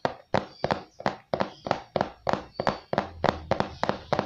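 A hollow, glossy printed cardboard microphone box, likely still holding the product, is held in both hands and tapped and scratched on its face with fingertips and nails. The result is a fast, uneven run of short, dry hollow knocks, centered in the mid range, each followed by a brief scratchy rustle with a bright edge.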